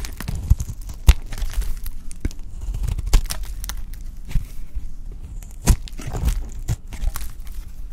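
A pink solid bar of dry soap, held in the hand, is shaved with a utility knife blade. Dry, crunchy scraping and crinkling fills the clip, broken by sharp, short clicks as the blade bites in. The sound is mostly low and close, with brief bright edges on the sharper cuts.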